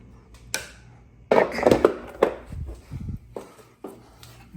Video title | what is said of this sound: I Bought a Clapped Out Yamaha TTR 230 | Shake the bike. Sounds like there's fuel sloshing around in the tank.